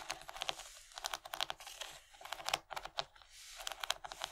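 Long nails tap and scratch along the raised ridges of an empty, large rectangular yellow plastic tray with a bumpy corn-cob texture. The result is a quick, uneven run of crisp, bright clicks mixed with dry scratching. Each tap stops almost at once, with almost no low end.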